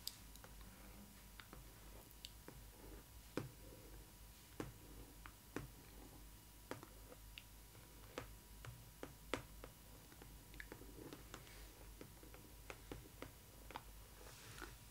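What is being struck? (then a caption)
Printed cardboard box. Long red nails tap and scratch the glossy back panel of a large, hollow printed cardboard box for a Disney ily 4EVER Stitch doll. Quiet, sharp, dry clicks with very short decay are spread unevenly across the clip, with soft scratching between them over a steady low hum.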